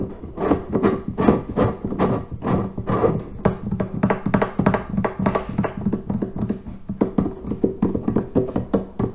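Fingertips tap and knock on the clay lid and rim of the top section of a large, hollow terracotta water filter. The result is a quick, steady run of dry, hollow knocks with a low resonant tone around 200 Hz. Each knock dies away almost at once.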